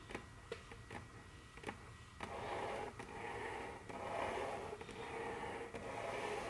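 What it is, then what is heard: Wooden tabletop tapped with fingernails. Very long, curved fingernails on both hands tap and click on a large, solid, dark brown glossy wooden tabletop. Sharp, separate clicks come first, followed by a steadier, continuous scratchy wash centered in the midrange around 500 Hz, with occasional clicks still showing through.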